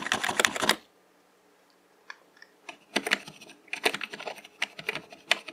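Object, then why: Plastic mechanical computer keyboard keys. Fingertips tap keys in the function row and the Insert/Delete cluster of a black plastic mechanical computer keyboard with hollow keycaps. A quick burst of bright, clicky keystrokes is followed by a second of near silence, then more irregular taps and rapid clusters of sharp, dry clacks that stop almost instantly.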